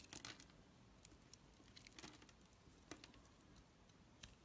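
A utility knife blade chips and scrapes flakes off a solid, palm-sized, oval black soap bar with a scored surface. Quiet, bright, crisp scraping and crackling is broken by short, dry clicks that stop almost at once.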